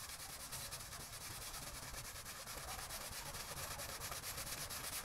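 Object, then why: Soaked textile pile rug scrubbed with a stiff push broom. A small patterned pile rug, lying flat on a wet floor, soaked and covered in muddy foam, is scrubbed back and forth with a long-handled green push broom. The result is a steady, wet, bristly scrubbing with a bright hiss on top and a low rumble underneath, in loosely rhythmic strokes throughout.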